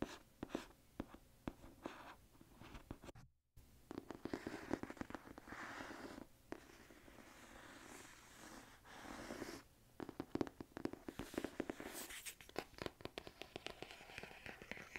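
Fingernails tap and scratch the matte printed cardboard cover of a thick hardcover book, "A Book That Takes Its Time," held upright. Quiet, dry, rapid clicks mix with soft scratching and stretches of breathy, whisper-like hiss. A brief silent gap breaks the sound early on.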